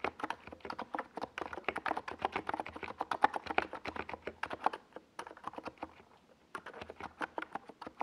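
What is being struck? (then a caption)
Plastic mechanical keyboard. A compact 68-key NiZ Plum Atom 68 mechanical keyboard with a hollow white plastic case and purple and yellow Domikey Gas Attack SA plastic keycaps sits on a desk pad and is typed on with the fingertips of both hands. Quick, sharp clacks with a hollow, plasticky tone patter in steady bursts, then drop to soft, sparse taps before briefly speeding back up.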